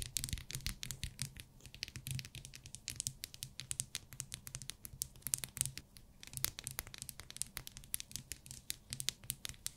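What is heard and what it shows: Long fingernails rapidly tap and scratch a small, solid pink glycerin soap bar in plastic wrap, held in the fingers. Dense, bright crinkly clicks and scrapes sound over a low steady hum, with brief pauses between bursts.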